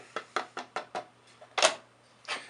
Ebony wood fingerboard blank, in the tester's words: Since it's so dense, you get a lot of ringing through it.